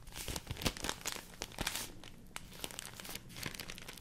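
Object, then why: Folded rice paper sheet. A large folded sheet of white rice paper is crinkled and rubbed by hand with long nails. Dense, bright, papery crackling and rustling, with a few sharper snaps standing out early on before settling into a steadier, softer crinkle.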